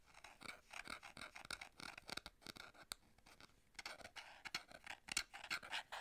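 Long fingernails and fingertips grip, scratch and tap the flat sides of a small, plain, hollow white paperboard box held in the hands. The result is a quiet, dense run of short, bright scratching and light tapping sounds with little low end.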